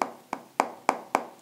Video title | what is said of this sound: iphone 12 manufacturer issue In made in india products | आपको यहाँ पे थोड़ा लगेगा कि कहीं ना कहीं ब्लैंक जगह है, क्योंकि इस जगह पे आवाज़ थोड़ा सा अलग आता है